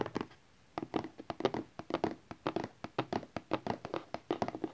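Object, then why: Small rigid cardboard box. A small rigid cardboard Honor 8X phone box, lying flat and front up on satin, is tapped with the fingertips and nails of both hands. About 27 quick, dry taps and light thunks come in an irregular rhythm after a brief pause near the start. Each has a hollow midrange body, a bright nail click and almost no ring.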